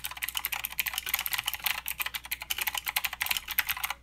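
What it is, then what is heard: Mechanical keyboard with clicky switches. Fingertip typing with both hands on a mechanical keyboard with plastic keycaps and clicky blue switches produces a rapid, steady stream of bright, sharp clicks. Each keystroke is crisp and short with almost no low end, and the clatter continues evenly for about four seconds.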